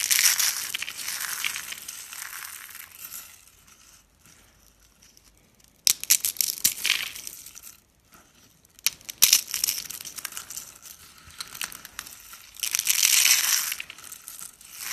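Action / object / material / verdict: scrape / thin dry soap curls and flakes / soap / none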